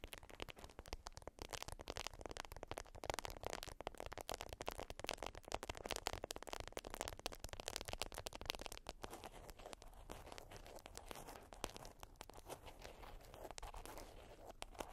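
Long white almond-shaped nails scratch and tap a flat, folded, yellow printed beeswax wrap (wax-coated cotton) resting on fur. The result is a quiet, steady stream of dense, dry crackles and crinkly scratches, with short clicky taps spread across lows to bright highs and no ringing.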